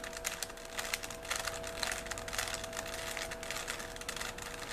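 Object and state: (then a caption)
Plastic Rubik's cube being twisted. A small solid 3x3 plastic Rubik's cube with colored stickers is held in both hands while fingertips twist its layers. Rapid, irregular bright plastic clicks and clacks ripple along over a faint steady tone near 700 Hz.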